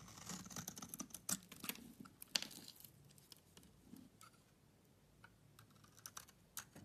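A utility knife blade carves and shaves a solid green bar of soap held in the hand. Quiet, crisp scraping strokes come in irregular bursts, mostly high and bright with very little low end. Each cut snaps off short and dry, busier at the start and sparser toward the end.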